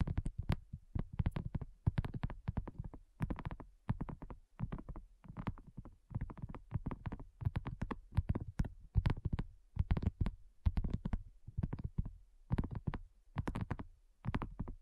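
Long nails of both hands tap rapidly on a flat, round, pink dotted silicone coaster that is thin and solid. The taps come in quick, dense bursts about once a second, each a dull, low, muffled tick that dies away almost instantly with no ring.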